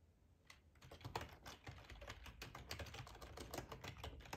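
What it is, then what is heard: Plastic computer keyboard. Fingertips type steadily on a black plastic ergonomic split keyboard with a hollow housing, resting on a cloth tablecloth. Soft, rapid clacks with a muted, thumpy body and a light bright tick start sparsely, then run into a continuous quiet patter of keystrokes.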